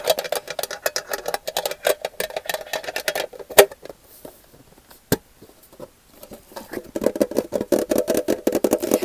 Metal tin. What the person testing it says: this tin is hollow. It's hollow.